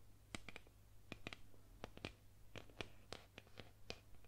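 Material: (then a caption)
Painted wood. Long nails scratch and trace along the painted surface of a solid painted wooden boomerang. The result is an irregular series of quiet, dry, crisp ticks and brief scrapes with bright edges and almost no ring, over a steady low hum.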